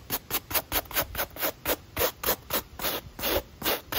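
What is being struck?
Mesh running shoe with foam sole.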